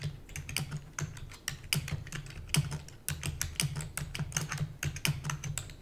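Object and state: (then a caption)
Plastic computer keyboard. Long natural nails and fingertips type rapidly on a full-size black plastic computer keyboard with hollow keys. A fast, uneven stream of sharp, bright clicks and taps rides over a steady low hum, and each keystroke dies away almost instantly.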